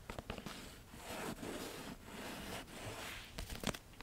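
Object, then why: Paperback book with paper cover. A Harry Potter and the Half-Blood Prince paperback with a paper cover, held upright, has its cover and page edges tapped and scratched with long nails. Sharp clicking taps at the start and end frame a longer stretch of dry, rasping scratches across the paper.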